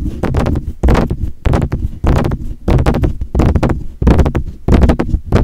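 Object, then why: Metal desktop condenser microphone. Fingertips tap on the grille and hollow metal body of a silver metal USB desktop condenser microphone, producing close, boomy low thumps in quick, uneven bursts. Each tap is dull and short, with almost no ring and little brightness.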